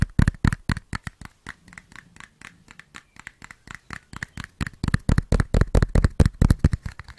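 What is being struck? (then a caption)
Small closed cardboard matchbox. A small closed cardboard matchbox, likely full of matches, is held in one hand and tapped and scratched with the fingertips and short nails of the other hand. Quick, dry taps with dull low thumps alternate with scratchy rubs at an uneven pace. The sounds grow quieter in the middle and louder toward the end.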